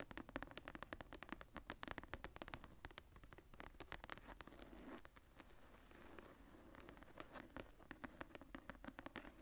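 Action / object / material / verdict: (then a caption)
scrape / leather-covered hardcover journal / leather / none. Long painted nails scratch and tap across the tooled brown leather cover of a medium hardcover journal, with a floral relief, lying closed on a table. Quick, dry clicks and scrapes come in dense bursts, easing into a smoother, continuous rasp midway before the sharp taps return. The sound is quiet and close, with short, dull impacts that stop almost at once.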